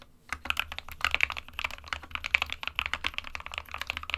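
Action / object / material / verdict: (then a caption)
tap / plastic mechanical keyboard / plastic / none. Fingertips of both hands tap the plastic keycaps of a small 60% SK61 mechanical keyboard, which has a hollow plastic case with switches inside, in continuous typing. The result is a rapid stream of short, bright, clacky key hits with almost no ring, over a faint steady low hum.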